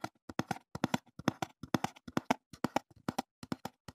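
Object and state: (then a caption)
Empty cardboard box. A small, empty, open brown corrugated cardboard box is held up near the microphone and tapped with the fingertips, giving about 26 quick, dull, hollow taps in an uneven rhythm. Each tap is a soft low-mid thump that dies away almost at once with no ring.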